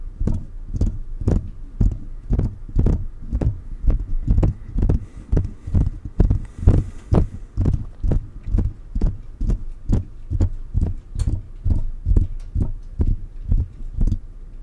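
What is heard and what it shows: Fingertips of both hands tap continuously on the mesh grille and body of a silver metal USB condenser microphone. Around 45 quick, close, bassy thumps land in a fast, slightly uneven rhythm, each dying away almost at once, with faint bright clicks on top.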